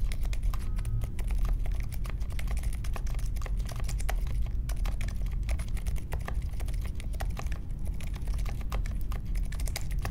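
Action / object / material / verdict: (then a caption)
tap / mechanical keyboard with plastic keycaps / plastic / none. A small 60% mechanical keyboard with a grey case, white, mint and pink plastic keycaps and silent linear Alpaca switches sits on a marble desk and is typed on steadily with the fingertips of both hands. Dense, muted keystroke clicks and soft thocks patter continuously over a low, steady hum, with brief bright key transients.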